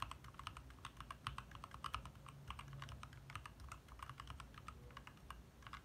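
Both hands type fast with their fingertips on a compact 60% backlit mechanical keyboard with lit plastic keycaps. The result is a quick, irregular stream of short, dry clacks with bright ticks, over a steady low hum.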